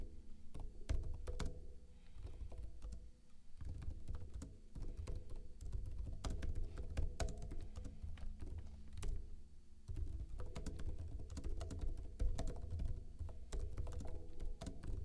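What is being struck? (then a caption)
Plastic laptop keyboard. Fingertips with short blue-painted nails type fast on a backlit plastic laptop keyboard with hollow keycaps. The rapid key taps sound as dense, short, low thunks that mostly run together.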